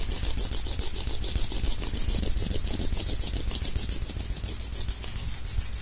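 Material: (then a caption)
Wood. Two thin, solid wooden sticks, like chopsticks, are rubbed and scraped against each other by hand. The result is a steady run of quick, uneven scraping strokes with a bright, airy hiss over a low, dull rumble.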